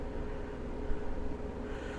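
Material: Nothing is struck.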